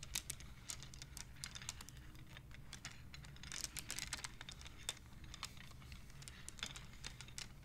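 Long nails and fingertips slide and click the painted wooden beads along the rods of a wooden abacus. The result is a quiet, irregular stream of sharp, bright wooden clicks with a brief burst of faster clicking near the middle, over a steady low hum.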